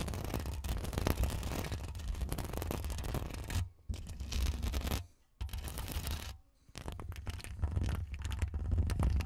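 Long acrylic nails on both hands scratch the woven metal mesh grille of a bare Rode NT1 condenser microphone with a hollow head. The result is dense, crackly scratching over a heavy low rumble, broken by brief near-silent pauses around the 4, 5.3 and 6.5 second marks before resuming.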